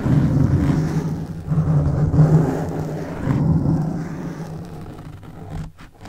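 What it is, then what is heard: Foam microphone windscreen being scratched. Fingertips and nails scratch and rub a soft, porous black foam microphone windscreen, making a dense, muffled, low rumbling scratch that swells and surges. The rubbing gradually quiets over the last seconds, ending with a few faint, dry scrapes.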